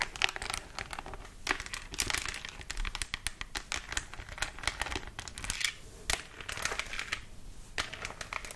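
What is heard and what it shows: Long acrylic nails tap and scratch the face and head of a life-size, hollow-looking black glossy plastic mannequin head held next to the mic. The result is a quick, dense run of bright, crisp clicks and crinkly scratching that never lets up. Each tap is dry and dies away almost instantly.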